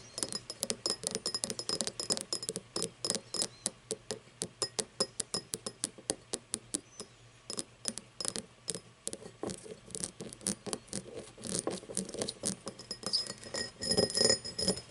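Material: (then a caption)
Crystal glass. Fingernails tap and scratch the star-cut base of an empty cut-crystal glass tumbler lying on its side. Rapid, irregular bright clicks and clinks come with short, high glassy rings and brief scratchy swipes. A faint steady low hum runs underneath, and the tapping grows denser and louder near the end.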